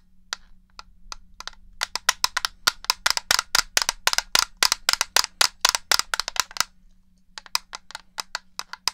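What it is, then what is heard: Plastic game controller tapped. Fingertips and nails tap the back and buttons of a black, hollow plastic original Xbox controller held to the left of a microphone. The result is a fast, uneven run of sharp, bright, dry clicks with no ring, over a faint low hum, pausing briefly near the end before a few more taps.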